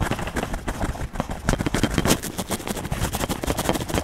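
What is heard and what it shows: A hand scratches a yellow wax crayon back and forth over an open paper coloring book page lying flat. The result is a steady run of quick, dry, scratchy strokes with a papery rasp, forming a continuous broadband rustle that pulses with each stroke.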